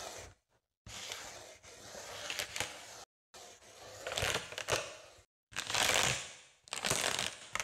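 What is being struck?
Inflated foil mylar balloon.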